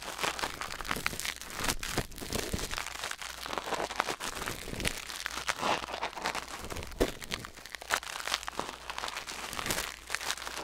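Metal tweezers held in the fingers scrape and pick inside the canal of a white silicone ear mounted on a black binaural microphone. The result is a steady stream of close, dry, crackling scratches and crinkles with bright, rustling detail, continuing without pause.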